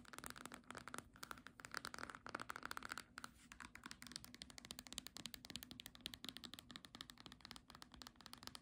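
Long nails tap fast on the front cover and edge of a small green cloth-bound hardcover book. The result is a dense, continuous run of quick, dry clicks with a bright, scratchy texture. The taps come in slightly louder bursts over a faint, steady low hum.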